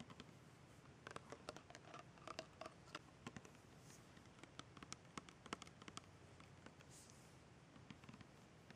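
Long red painted nails tap and scratch the paper label and white ribbed screw cap of a tall, apparently filled plastic rosewater bottle held in the hand. Many soft, short, dry clicks and taps sit over a quiet, scratchy background hiss, with brief bright ticks. The tapping is gentle and unhurried, with no speech.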